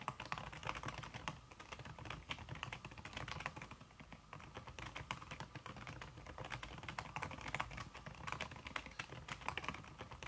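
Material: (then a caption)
Silicone. Fast fingertip typing, including red-painted nails, on a slim backlit aluminum keyboard whose keys are covered by a red silicone skin. The result is a dense, continuous stream of short, soft, muffled key clicks with brief bright ticks and a low thump beneath, each decaying almost immediately, with only a slight dip in the pace around the four-second mark.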